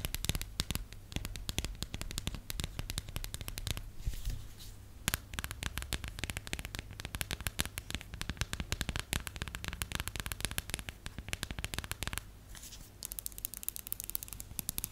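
Long acrylic nails tap rapidly and continuously on the back and edge of a held plastic phone case with a periodic-table design. The taps are short, sharp clicks that fall into a dense, ongoing patter over a steady low hum, with brief quieter stretches before the tapping picks back up.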